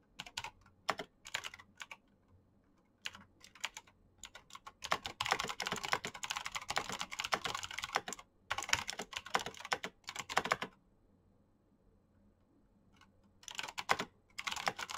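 Fingertips with painted nails type at a moderate pace on a black Razer mechanical keyboard with plastic keycaps and green switches. Bright, sharp clicks come in bursts, with a dense run in the middle and short quiet pauses between bursts.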